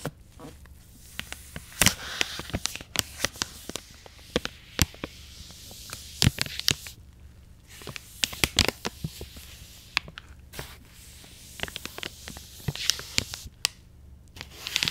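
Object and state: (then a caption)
Soft plastic wipes pouch being brushed. An angled paintbrush held in a gloved hand brushes the edge and surface of a soft, partly full plastic wet wipes pouch. Quick, bright crinkling and crackling strokes come in uneven bursts over a faint low hum, each sharp tick dying away almost at once.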